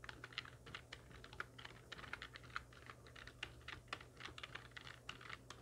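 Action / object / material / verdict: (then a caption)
tap / plastic computer keyboard / plastic / none. Fingertips and long nails of both hands type quickly on a full-size black plastic computer keyboard with hollow keys resting on a wooden desk. The result is a steady run of short, crisp, bright clicks and clacks over a faint low hum.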